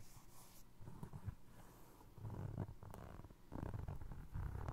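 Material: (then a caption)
Foam resin. Fingertips tap and scratch a single navy blue foam resin Crocs clog, first on the upper and then on the ridged sole. The sound is soft, low and muffled, a dull rumbling texture with almost no brightness. It grows louder in the later bursts of scratching on the sole.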